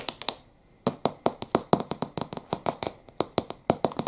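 A thick, white-covered Tolkien paperback, solid and closed, is held upright while its cover is tapped with fingertips, then briefly turned to show the spine. About 24 quick, dry taps sound with a short pause early on. Each tap is a crisp, soft knock with a bright clicky edge and almost no ring.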